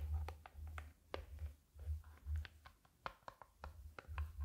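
A closed black hard-shell glasses case with a faux-leather covered shell, hand-sized and hollow, is held flat in one hand while its top surface is tapped and scratched with long nails. Quiet, sharp clicks of the nails ride over soft, low hollow thumps and brief scratching, each tap fading quickly.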